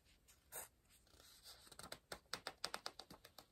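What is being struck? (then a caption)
Pencil on paper book page. A pencil writes and scratches across the paper page of an open softcover word-search book resting on a pillow, staying on the same spread. Faint, soft scribbling gives way to a quick run of short, crisp, bright scratches with very little low end and almost no ring.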